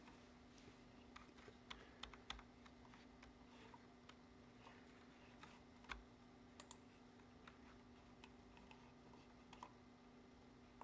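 Fingertips of a hand wearing a ring type rapidly on the keys of a black plastic computer keyboard. Quiet, short, irregular key clicks sound over a steady low hum and a faint high whine.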